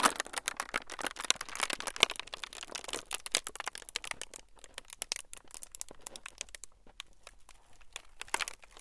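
A thin clear plastic film sheet is squeezed and crinkled by the fingertips of both hands in front of the mics. Dense, bright, crisp crackles snap in rapid bursts, busiest in the first half, thinning out in the middle and picking up again near the end. Each crackle is dry and stops instantly, with almost no low end.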